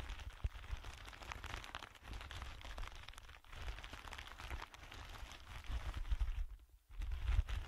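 A thin, empty, clear plastic bag lies under both hands as fingertips press, crinkle and rub the plastic. It makes a steady, dense crackle over a heavy low rumble, which drops to near silence for a moment near the end before the crinkling returns louder.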